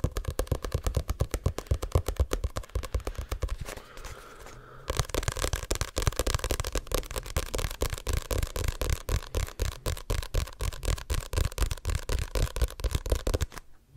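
Fingertips and nails rapidly tap and scratch the glossy card cover of a Diary of a Wimpy Kid paperback, a solid paper book held over the mic. Quick, deep, thumping taps run almost continuously, broken by a brief stretch of softer scratching near the four-second mark before the fast tapping resumes and then stops at the end.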